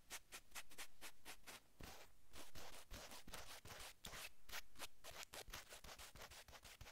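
Long acrylic nail tips rapidly scratch navy cotton sweatshirt fabric stretched over a man's shoulder blades. Quick, dry, bright scratchy strokes follow one another in a steady rhythm with a soft rubbing hiss between them, making a continuous textured scratching over the whole clip.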